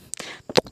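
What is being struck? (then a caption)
Thick steel door. A thick steel door set behind a trapped box is knocked, with what lies behind it unknown. Two sharp knocks are heard, the second louder, each giving a short, bright metallic clank that dies away almost at once.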